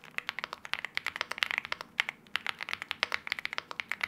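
Both hands type continuously with their fingertips on a LEOBOG Hi75 aluminium-case 75% mechanical keyboard with wine red plastic keycaps. Around thirty quick, dry, bright key clacks centered near 2 kHz are heard, with no low end and almost no ring between strokes.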